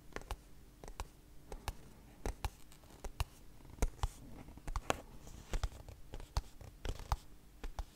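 Long nails tap and scratch a small white cardboard product box with a hanging tab. About two dozen short, dry taps land at an uneven pace, each a quick click with almost no ring. Soft, low scratching rustles fill the gaps between them.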